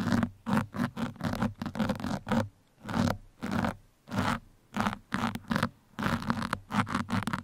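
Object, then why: Foam microphone windscreen. Two metal pins held in the fingertips scratch the sides of a black foam microphone windscreen. The result is a series of short, irregular scratchy bursts with a bright, rustling rasp over a low buzzing tone. Brief quiet gaps fall between the strokes.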